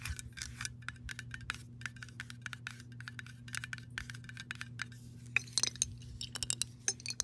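A glass mason jar with a metal lid, partly filled with water, is tapped and scratched with long nails, first on the metal lid and then on the glass body. Many quick, bright clicks and scrapes run over a low steady hum. Toward the end, sharper ringing glass taps stand out.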